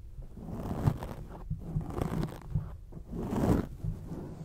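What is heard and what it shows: Long acrylic nails scratch across a grey foam microphone windscreen, making dull, muffled rustling and scraping bursts. The sound is heavy in the low end with almost no brightness, swelling into a longer, louder scratch near the end.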